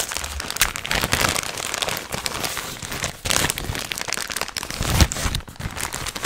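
An apparently empty blue and white printed plastic snack bag, hollow and flexible, is held in both hands and crumpled and squeezed with the fingertips. It makes a dense, continuous crinkling with bright, sharp crackles and some low rustling thumps underneath. The crinkling dips briefly around the middle, then peaks in a louder burst near the end.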